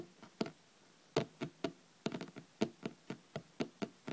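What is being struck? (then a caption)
Hardcover paper book. Long red nails tap quickly on the top cover of a thick, solid hardcover paper book lying flat on a table. The taps are short, dry knocks with almost no ring, falling in an uneven rhythm with brief pauses and a quick flurry in the middle.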